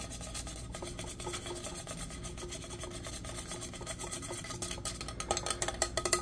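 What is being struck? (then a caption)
Powder-coated steel tumbler. A hollow, insulated teal powder-coated steel tumbler with a straw is tapped and rubbed quickly with fingertips and nails. The result is a steady scratchy rasp full of fast, light taps over a faint metallic ring. The taps grow sharper and louder near the end.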